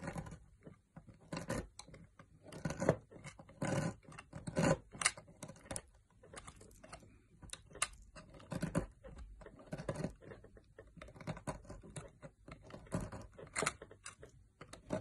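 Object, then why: Solid bar of soap shaved by a metal knife blade. A metal knife blade shaves strips off the carved end of a solid green opaque bar of soap held in the fingers. Many short, crisp scraping bursts come in quick, irregular succession, each with a soft low thud and a bright, papery edge, with brief quiet gaps between strokes.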